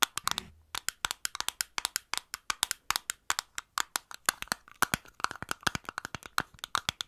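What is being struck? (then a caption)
Small glass bottle. A small clear glass bottle with a green cap, held close to the mic, has its sides tapped rapidly by long nails fitted with paper clips. About 49 sharp, dry clicks sound in quick succession, each bright with a tone near 1.4 kHz and almost no ring.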